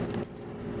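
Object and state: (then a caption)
Rattling dog leash hardware. A dog leash with two metal pieces is shaken, giving two brief metallic rattles. A low steady hum carries on underneath. The rattle is the sound that tells a dog it is time to go outside.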